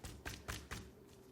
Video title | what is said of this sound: 牛排熟成越久越好？肉舖老闆試吃4種熟成程度的沙朗牛排 Does Steak Get Better With Age?｜科普長知識｜GQ Taiwan | it has really hardened to a point where you can actually knock on it